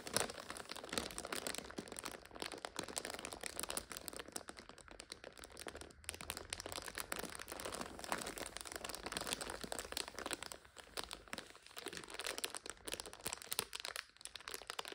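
Long nails scratch and squeeze a full purple instant noodle multipack in its plastic overwrap, making it crinkle. Dense, bright crackling and rustling runs steadily through the whole clip, easing slightly around the middle and again near the end.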